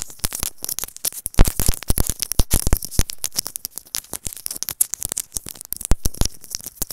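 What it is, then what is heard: Plastic earphone inline microphone tapped and scratched. A small white plastic earphone inline microphone, held in the fingertips, is tapped and scratched with long nails. Rapid, dense bursts of crackly taps and scratching carry deep, boomy low thumps alongside bright clicks, each dying away almost instantly.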